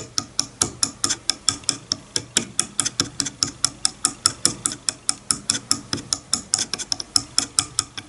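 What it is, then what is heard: Wooden comb teeth plucked. A wide-tooth wooden comb lying on a bamboo board has its teeth plucked repeatedly with a fingernail, producing 39 short, dry, bright clicks. The clicks come at an uneven pace and die away almost instantly, with little low end.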